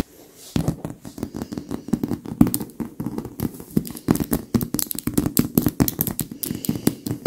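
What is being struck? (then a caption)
Stuffed leather pillow. Long acrylic nail tips tap and scratch fast across the leather surface of a white stuffed leather pillow, with the hands staying on the pillow throughout. After a brief quiet start, a dense run of soft, dull taps with a low-mid body mixes with crisp, crackly scratches.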